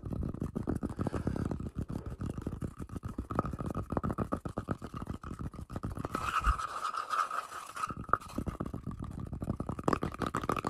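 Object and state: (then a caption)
Wooden log slice scratched. Fingertips and short nails scratch and rub the cut surface of a round, solid, flat wooden tree-trunk slice with a bark edge and a darker rough centre, working especially over the textured centre while it is held up close. Fast, dense scratching strokes run throughout, with a steady narrow tone around 1.2 kHz and a low rumbling body. It dips briefly into a thinner, brighter hiss near the seven-second mark before the scratching resumes.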